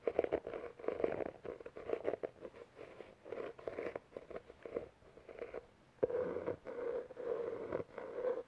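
Fingertips and nails tap and scratch the board cover of a solid, medium navy-blue cloth-covered hardcover book held close to the mic. Bursts of quick, dry taps and rustling scratches have a hollow midrange tone. After a brief pause, louder, steadier scratching resumes.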